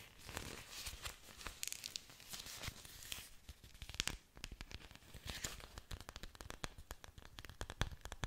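An orchid plant with its roots is held sideways close to the microphone while long nails scratch along its leaf surfaces. The result is a dense run of dry, crackly scratching and crinkling with many quick, sharp clicks that are bright and carry a low rumble underneath.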